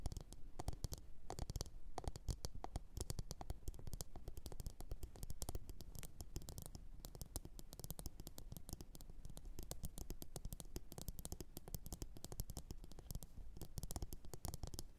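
Long orange nails tap and scratch the rim and sides of a medium glossy blue ceramic bowl, hollow and empty, resting upside down on a fur mat. Dense, rapid, quiet taps with a soft scratchy edge continue throughout. Each tap is a short, dull thud, heavy in the low end, that dies away almost instantly.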